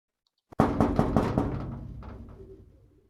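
Someone knocks five times in quick succession on a thin sheet of metal. Each rap adds to a low, hollow metallic ring centered around 230 Hz. After the last knock, the ring slowly fades out over about a second and a half.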